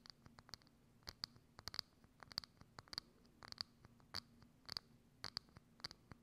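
Long acrylic nails scratch and tap a hollow, thin, transparent clear plastic dome lid with a knob, set over a microphone. Quiet, sharp, bright clicks and scrapes come in an irregular string, each dying away almost instantly, over a faint low hum.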